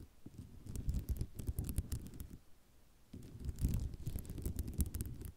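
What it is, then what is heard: Ceramic mosaic tile sheet. Long nails scratch vigorously across a white ceramic mosaic tile sheet, making a dense, low rattling scrape full of quick clicks. The scratching runs in two bursts with a brief quieter pause between them, near the middle of the clip.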